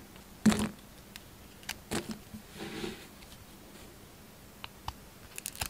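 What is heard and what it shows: A solid, hand-sized Duru bar soap with a printed orange-black outer layer and a green interior is held in the hand and shaved and carved with a yellow utility knife blade in scraping cuts. A sharp, bright scrape opens the clip, followed by a few shorter cuts and a longer, softer shaving rasp. Small crisp ticks and scrapes close it out against a quiet background.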